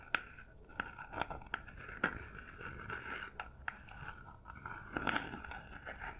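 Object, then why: Paper-covered cardboard gift box. Long nails scratch and tap the top and sides of a small, hollow cardboard gift box covered in textured silver paper, held in both hands. Sharp, dry clicks stand out over a steady papery scratching with a faint mid-pitched hollow ring. Each tap dies away almost instantly.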